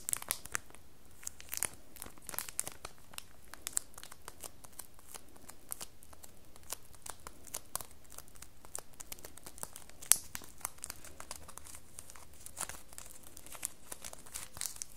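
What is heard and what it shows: Long nails scratch and squeeze the crinkly cellophane film wrapped around a small red printed cardboard soap box held in the hand. A steady stream of quiet, dry crinkles and brief, bright ticks scatters across the clip, with one sharper snap standing out near the middle. A faint, low hum sits underneath throughout.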